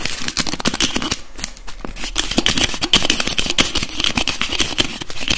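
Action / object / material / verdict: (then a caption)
tap / plastic bottle with screw cap / plastic / none. Fingertips and nails rapidly tap and twist the screw cap of a translucent blue plastic bottle holding liquid. The result is a dense run of sharp clicks and scratchy taps with a bright plastic ring near 3 kHz and a low thud underneath. There is a brief quieter stretch around 1.5 seconds before the fast tapping picks back up.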